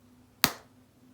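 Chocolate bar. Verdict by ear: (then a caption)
Well-tempered. A bar of chocolate is snapped in two, giving a single sharp, bright crack with a brief crisp tail and no dull thud. The clean snap marks the chocolate as properly tempered and of good quality.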